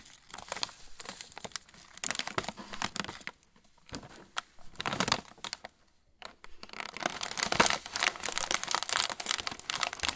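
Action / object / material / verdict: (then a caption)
shake / metallized plastic film snack bag with plastic tray / plastic film / none. A yellow Roland pretzel bag, made of metallized plastic film with a plastic tray inside and full of pretzel sticks, is held in both hands and bent and crinkled with the fingers. Dense, bright, crackling crinkles come in bursts, with brief quiet gaps near 3.5 and 6 seconds. The crinkling grows louder and more continuous toward the end.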